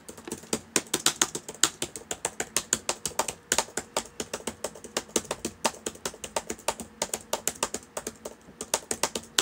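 Fingertips of both hands type on the plastic keys of a black laptop with a hollow body, open on a table. About 51 quick, dry, bright clicks and taps come in a steady, uneven rhythm, each dying away almost at once with very little low end.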